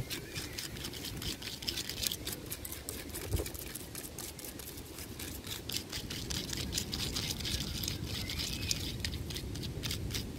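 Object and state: Tree trunk bark being scratched.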